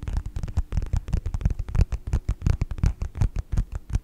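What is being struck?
Faux leather wallet tapped with fingertips and nails.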